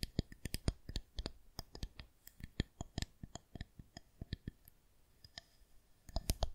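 Long nails tap and click on the surface of a smooth white plastic rolling pin. Crisp, dry clicks and taps with very short decay come in irregular bursts, thinning out in the middle before a louder flurry at the end.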